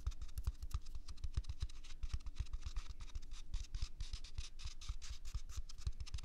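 A single large, soft white toilet paper roll with a hollow core is held in one hand close to a binaural microphone and scratched with the fingertips and nails of the other hand. Quiet, rapid scratching strokes follow one another continuously, each a short papery rasp with a dull low thump beneath it. There are no pauses between them.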